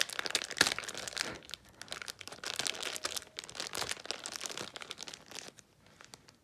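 A small red-and-clear plastic zip bag of Mr. Lucky celery sticks, full of celery, is held in both hands and pulled open along its zip seal with long pink nails and fingertips. Bright, dense crinkling and tearing of plastic with sharp crackles runs throughout, strongest early on. It thins out to a few soft rustles at the end.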